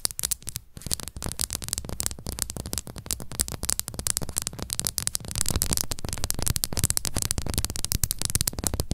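Long acrylic nails on both hands rapidly tap and scratch the red plastic screw cap and top of a small, hollow BB+C plastic supplement bottle. The result is a dense, fast stream of sharp clicks and scratchy ticks, bright on top with a steady low hum beneath, growing slightly louder in the second half.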